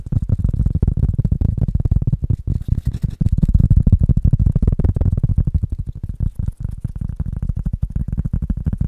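A rubber item is tapped rapidly in a dense, uneven rhythm with no talking. Each tap is a short, dull, low thud with almost no ring, and the energy sits almost entirely in the deep bass.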